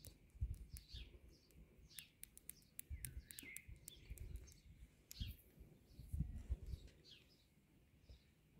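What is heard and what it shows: Fingertips and long nails tap and scratch along the solid concrete cylinder tops of a concrete palisade garden border. Quiet, dull low thuds mix with sharp, quick clicks and scrapes that die away almost instantly. Birds chirp and call brightly in the background throughout.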